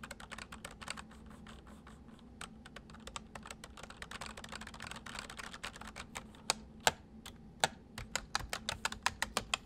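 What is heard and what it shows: Fingertips of both hands type on a white full-size plastic mechanical computer keyboard, producing a quick, irregular stream of short, bright clicks over a faint steady low hum. Toward the end the keystrokes grow louder and more spaced out, ending in sharp, distinct clacks.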